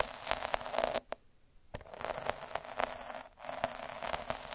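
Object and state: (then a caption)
Felt sheet scratched by a needle roller. A metal-needle derma roller is rolled back and forth over a flat red felt square on a dark table, scratching the fibres. It makes a dense, dry scratchy crackle with a faint steady tone near 670 Hz and sharp clicks. The sound drops almost to silence for about half a second early on and dips briefly again near the end.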